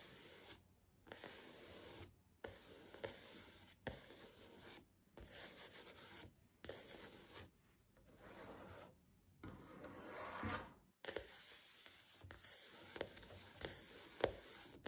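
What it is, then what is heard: Paperback book. Long fingernails scratch and tap the red page edges and cover of a thick paperback book lying flat on a table. Bursts of soft, bright rasping rub come in with short silent pauses between them, and a few sharper taps stand out near the end.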